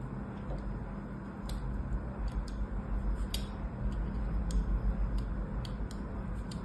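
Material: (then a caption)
Soap. A small craft knife scores diagonal lines into the surface of a solid white-cream rectangular bar of soap, held by a hand with long orange nails on a blue mat. Soft, irregular ticking scratches and bright little cutting clicks sit over a steady low rumble.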